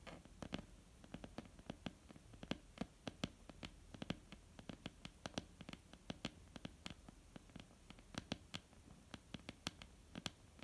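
A flat, solid wooden tabletop is tapped with the nail tips and fingertips of both hands. The result is quiet, dry, irregular clicks and soft knocks with almost no ring, over a low background hum. Some of the taps are sharper and brighter than others.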